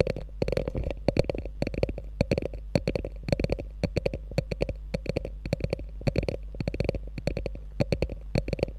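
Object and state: Faux leather handbag tapped and scratched with nails.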